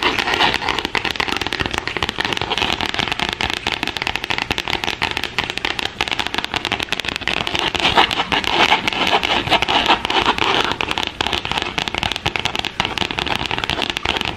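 Long acrylic French-tip nails scratch and tap across the flat gold glitter-coated cardstock cover of a spiral-bound notebook with a metal coil, held close. The result is a dense, continuous crackling of rapid dry scratches and taps, bright and hissy with little low end, steady in level throughout.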